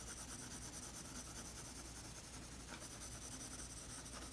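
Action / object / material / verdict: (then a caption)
scrape / colored pencil on a toned paper sketchbook page / paper / none. A colored pencil rubs shading strokes across a toned tan paper page of a spiral sketchbook. The result is a quiet, continuous dry scratching and rubbing with a bright, hissy edge and a faint low rumble underneath, holding steady throughout.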